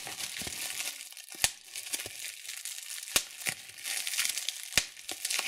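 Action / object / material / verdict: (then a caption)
strike / plastic bubble wrap sheet / plastic / none. Thumbs and fingertips pinch a clear plastic bubble wrap sheet of hollow air bubbles, making a steady bright crinkling rustle. Three sharp, loud pops stand out as bubbles burst, with softer snaps in between.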